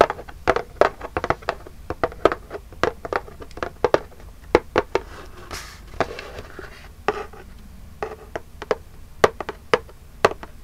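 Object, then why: Small cardboard gift box. Long jeweled acrylic nails tap the lid of a small, flat, printed cardboard Birchbox gift box, which is hollow and held upright in both hands. The result is rapid, irregular bursts of short, dry, clicky taps with a hollow midrange tone that stop almost instantly. Brief pauses and a faint rustle come between the bursts.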